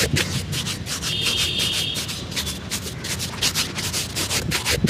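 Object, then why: Leather shoe and bristle brush. A dark shoe brush is swept repeatedly along the leather upper of a hollow, empty black leather shoe held on a lap. The steady rubbing strokes make a quick run of bright, breathy swishes over a low, continuous rumble, with a faint thin whine near 3 kHz early on.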